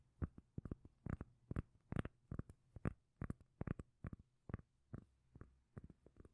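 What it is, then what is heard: Round cork lid. A solid, palm-size round cork lid is held in one hand while the long nails of the other hand tap and scratch the cork. About 20 short, dull, bass-heavy knocks sound in an uneven rhythm, each with a faint brief scrape and no ring. It stays quiet and deep throughout.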